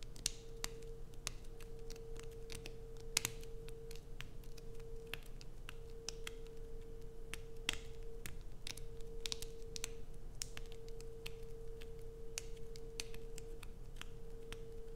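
Long nails scratch and dig into the grooves of a solid light-blue bar of soap held in both hands. The result is a quiet run of sharp, bright clicks and dry scratches over a steady low hum.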